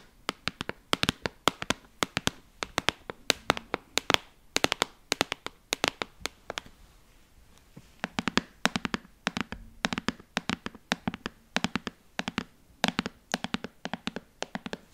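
A clear rigid plastic box with a blue lid, filled with dog treats, is tapped with long fingernails and handled or shaken. Rapid bursts of sharp, bright clicks with almost no ring follow one another, with a brief quieter pause midway before the tapping resumes.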